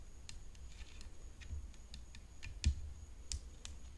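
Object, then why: Composite tennis racket frame with rhinestones. Long nails tap the hollow composite frame of a rhinestone-decorated tennis racket lying on black cloth. The result is a quiet series of light, dry, irregular clicks, one slightly louder than the rest, each dying away almost instantly with no ring. A faint steady high tone and low background rumble sit underneath.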